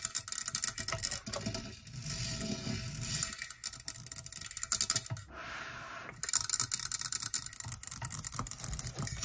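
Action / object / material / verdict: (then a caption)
tap / metal microphone body / metal / none. Long nails tap and scratch a black metal Blue Yeti USB microphone on its stand, the hollow cylindrical body with a grille head, while that same microphone records. Rapid bright clicks and dry scratching run throughout, broken by a smoother, steady scraping stretch in the middle before the quick tapping resumes.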